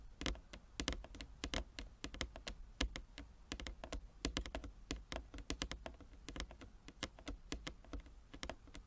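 Fingernails of both hands tap rapidly across a large, flat, inlaid wooden chess board. The result is a quick, uneven patter of short, dry clicks, each with a bright crisp edge and a soft low knock beneath. Every tap dies away almost at once, giving a sound much like fast typing.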